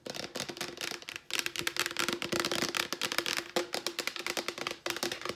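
Long nails tap rapidly on a large yellow Clorox disinfecting wipes canister, a hollow plastic container with wipes inside. About thirty crisp, clicky taps come in quick bursts, each bright and short with a faint hollow tone near 340 Hz that dies away almost at once.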